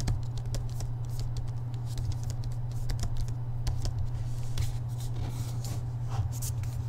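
Fingertips and nails tap the front of the paper dust jacket on a hardcover book held in both hands, making quick, light, dry taps that die away almost at once. A steady low hum runs underneath the whole time.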